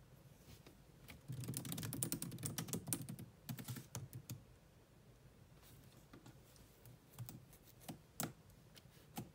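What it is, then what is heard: Laptop keyboard typing. Long almond-shaped nails and fingertips type on the low-profile black plastic chiclet keyboard of a grey laptop with a grey metal-look body. A quiet, dense run of soft clicky key taps fills the first few seconds, then gives way to scattered, sparser taps with low thuds and bright clicks. Each tap ends almost instantly.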